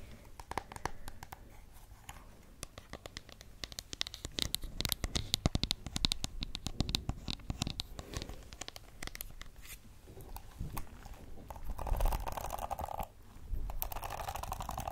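Long acrylic nails tap the smooth plastic back of a pink plastic detangling hairbrush, then scratch along its flexible plastic bristles. The result is a dense run of quick, dry clicks and taps, giving way to raspy, bristly scraping with a bright edge that swells louder toward the end.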